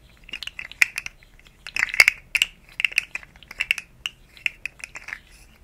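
A rainbow, segmented, hollow plastic articulated slug fidget toy is moved and flexed by hand over the microphone. It gives an irregular run of dry, bright ratcheting clicks as the segments snap against each other. Each click is centered near 2.2 kHz and dies away almost instantly, with no low end.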